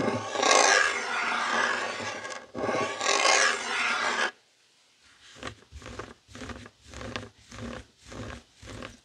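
Fingertips and short nails of both hands scratch back and forth over a flat, thin, hand-sized heart-shaped woven textile mat with a pastel pink, blue and white tapestry-like weave, lying on a dark wooden table beside an untouched black microphone. A dense, bright scratching rasp runs for about four seconds with a brief break partway. It is followed by a quieter series of short, rhythmic scratching strokes.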